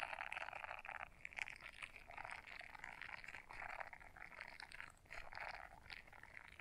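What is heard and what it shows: Long nails scratch the bristles of a small blue silicone scrubber brush folded in half. The result is a quiet, continuous scratchy rustle concentrated in the mid to high range, swelling and dipping in short bursts.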